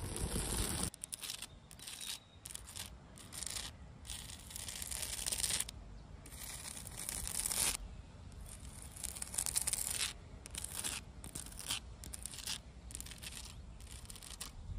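Long dark red nails scratch and tap the rough surface of a large, solid granite-like boulder in a garden. Bursts of bright, raspy scraping alternate with quieter, gritty stretches over a low rumble, and the dry taps die away instantly without ringing.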